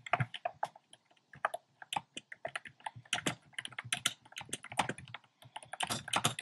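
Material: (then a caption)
Plastic. Fingertips type steadily on a compact plastic mechanical keyboard with round pastel plastic keycaps in a dark frame. A rapid, uneven run of short, sharp clacks follows, each with a bright attack and a mid-pitched body, and they die away almost instantly between strokes.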